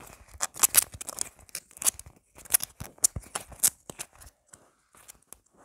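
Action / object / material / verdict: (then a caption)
scrape / soft foam squishy toy / foam / none. Long black nails scratch and tap fast on a palm-sized, solid red tomato-shaped squishy toy of soft foam with a green stem. The result is a rapid run of dry, bright scratchy bursts with a crinkly, tearing edge and almost no low end or ring. The sounds thin out into a few quieter taps toward the end.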